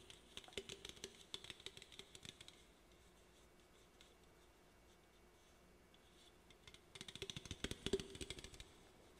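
Fingernails tap and scratch the body of an aluminum Olipop drink can held up in the hand, making quick, irregular clicks with a bright metallic ring and a faint low hum beneath. A flurry of tapping runs for about two and a half seconds, then comes a long quiet stretch of near silence before the tapping and scratching returns more strongly near the end.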